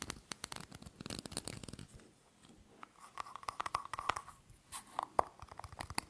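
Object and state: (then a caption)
Aluminium screw-top tin. Fingernails tap and scratch the lid of a small, round, hollow silver aluminium screw-top tin held in the hands. A dense burst of quick, crackling scratches fades into a brief lull, then sharper, separate taps with a faint metallic ring around 1 kHz follow. The sound stays quiet and close throughout.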